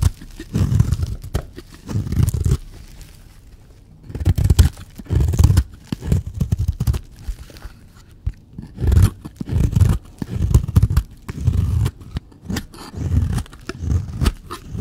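A blade scrapes and cuts shavings off a solid, dry pink bar of soap. The sound is a series of low, rough, crunching scrape bursts separated by brief quiet gaps, with almost no high end.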